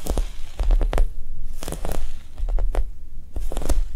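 A Japanese cheesecake squishy, a soft foam toy, is tapped quickly and gently. Soft, dull low thuds come in quick clusters, with faint crackly ticks on top and brief gaps between the bursts.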